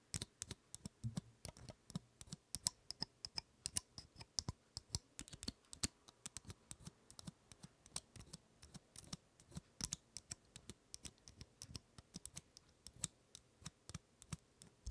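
Long nails scratch and tap across the woody scales of a large, dry, open pine cone held in one hand. A quiet, steady stream of sharp, dry clicks and ticks follows, each bright at the top with a soft low knock beneath and dying away almost instantly, with faint scratching between the taps.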